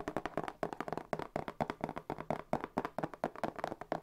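Fingertips tap quickly and unevenly on the flat faces of a hollow, medium brown corrugated cardboard box held close to the mic. Each tap is a short, dry, hollow knock with a papery midrange body and almost no ring. The taps run as a steady, fluttering stream.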